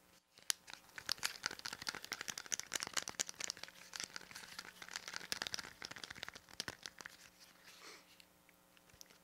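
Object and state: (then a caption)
Plastic pocket calculator. Fingertips tap and press the rubber buttons and casing of a small, hollow plastic pocket calculator, and a thin metal pin scratches along its ridged side. Dense, rapid, crisp clicks and crackles sound bright with almost no low end. A softer scratching stretch near the end gives way to a few last taps.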